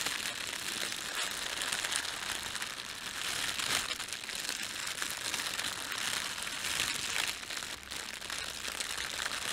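Fingertips scrunch and rub the film of a thin, red, printed plastic bread bag lying flat. The result is a steady, bright, dense crinkling and crackling with almost no low end, which eases briefly near the end before picking up again.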